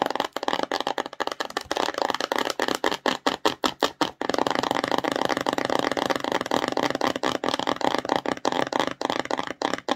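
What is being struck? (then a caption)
Small cardboard box. Long nails tap and scratch a small, empty, glossy cardboard slime box held upright, its hollow body answering with quick, papery clicks. A run of sharp, separate taps gives way after about four seconds to dense, continuous scratching and rattly tapping, bright and midrange with almost no low end.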